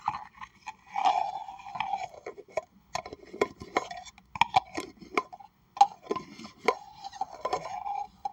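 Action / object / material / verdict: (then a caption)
tap / plastic tumbler cup / plastic / none. Long acrylic nails tap and scratch the sides and rim of a hollow, apparently empty pink plastic tumbler held in the hands. Quick, sharp clicks alternate with scratchy rasping strokes. The cup gives a short hollow ring around 800 Hz that fades almost at once.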